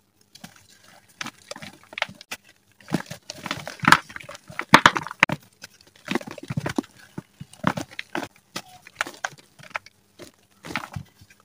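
Bare fingertips and palms squeeze, crush and rub palm-sized chunks of soft, crumbly teal-dyed gym chalk (magnesium carbonate) resting in a bowl of loose chalk powder flecked with yellow holi powder. Bursts of dry, crunchy crackles and gritty rubbing come in quick clusters with short, sharp snaps and no ring. The chunks break apart into powder.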